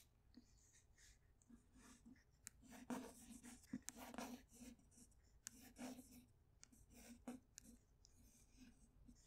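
Long white acrylic nails tap and scratch across the glossy cover of a paperback copy of *The Grapes of Wrath*. Quiet, crisp clicks and dry scraping strokes follow one another, with brief sharp taps standing out over a soft rubbing texture.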